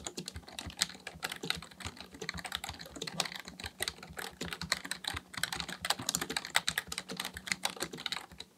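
Both hands' fingertips type continuously on a black plastic full-size membrane keyboard (Dell KB1421) with a hollow housing, resting on a desk, pressing and tapping keys. Rapid, bright, plasticky clacks come in an uneven stream, each dying away almost instantly, over a faint steady low hum.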